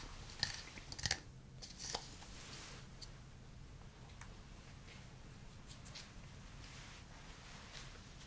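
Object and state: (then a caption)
Wooden cup tapped with fingernails and fingertips. A hand-sized hollow wooden cup is tapped with fingertips and fingernails. Sharp, bright nail clicks come first, then softer taps over a steady low hiss, each tap dying away almost at once.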